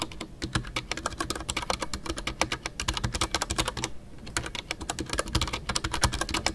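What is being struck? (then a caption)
Mechanical keyboard with PBT plastic keycaps. Fingertips type continuously on a full-size Ducky One 2 mechanical keyboard with a white case, MX Brown switches and custom artisanal PBT plastic keycaps. A rapid, steady stream of short, crisp clacks with bright tops and a soft low thock underneath, with a brief pause near the middle.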